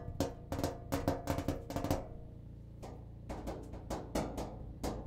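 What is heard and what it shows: The cabinet of a clothes dryer is tapped with quick, irregular strikes that make hollow, drum-like thumps with a low, resonant body and a short metallic ring. The taps come in two bursts separated by a brief pause, each hit decaying quickly.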